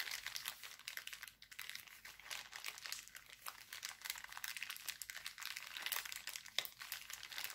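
Hands roll and crinkle an empty, thin, clear heart-printed cellophane bag. The result is a steady stream of dense, bright, crackly crinkles with almost no low end, and each tiny snap fades out instantly.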